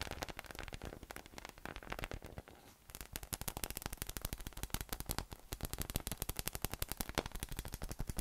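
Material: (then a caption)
PVC. A yellow inflatable PVC spiky massage ball with nubs, hollow, air-filled and about 20 cm across, is tapped with fingertips, first as it rests on a table and then while held in one hand. Rapid, dense taps produce dry, crackly hollow thumps with a low body and very short decay, easing briefly near the three-second mark before resuming in a steady, quick patter.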